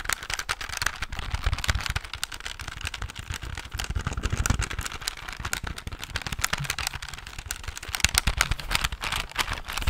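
A silver plastic desk calculator is held in the hand while fingertips and nails rapidly tap its keys and body. The result is a dense, continuous stream of short, dry clicks and taps with a bright edge, over a steady low rumble that swells and fades.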